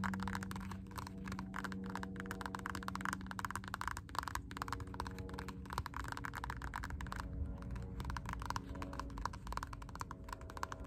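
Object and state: Rubber slide sandal strap tapped with nails.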